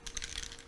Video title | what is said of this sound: Spectrum Noir Stamp & Colouring 101 with Leann Chivers | that's the little ball bearings inside so you just give it a good shake give it a good mix